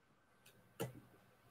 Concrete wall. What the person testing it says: bang on the wall you can you can hear it just like absorbs the noise like it's that 1930s concrete